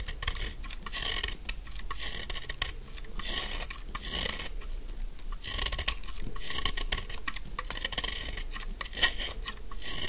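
A narrow, solid, pink dry soap bar held in one hand is scraped and carved with a metal snap-off blade, shaving off fine dry flakes. Repeated crisp, raspy scraping strokes with a bright, crunchy edge come in steady waves over a low background rumble.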